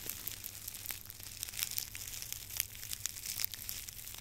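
A long bundle of dry, straw-like grass stalks, tied in the middle, is held in both hands over a microphone while fingers rub, crinkle and twist the stalks. The result is a continuous, bright, high-pitched crackling and rustling with many quick, dry snaps and almost no low end.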